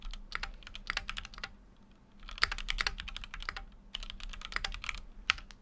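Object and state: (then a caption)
Mechanical keyboard being typed on. Fingertips type steadily on a full-size Keychron Q6 mechanical keyboard with an aluminum case and plastic keycaps. Rapid, bright, dry clicks and clacks come in two bursts separated by a brief pause near the middle. A faint low hum sits underneath.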